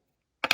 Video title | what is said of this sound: Jada Toys Monster Cereals Franken Berry Action Figure Review 6" Toy Cereal Halloween Frankenstein | this accessory is hollow. It's not like a solid hard piece. You kind of hear that it's hollow.